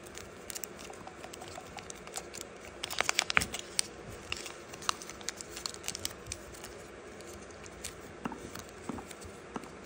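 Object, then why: Metallic foil origami paper. Fingertips and thumbs crease, rub and crinkle a small, thin, hollow-folded piece of metallic gold foil origami paper while folding it into a crane. Quiet, bright crinkles and crackles run throughout, with a denser, louder burst of sharp crackling around three seconds in.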